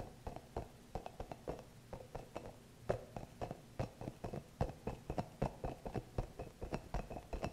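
Fingertips and nails scratch a small green hollow rubber massage ball with soft spikes close to the mic. The result is a quiet, irregular run of short, dry scratchy taps with a muffled mid-range body and very little brightness, each one dying away almost instantly.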